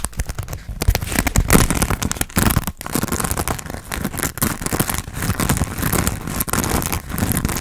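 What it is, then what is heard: Foam sponge being scratched and tapped. Fingernails scratch and tap a hand-sized grey textured foam sponge on a tan foam base, solid and porous, held in both hands. The result is a dense, continuous run of dry crackling scratches and quick soft taps, with muffled low thuds underneath and a papery crinkle in the brighter range.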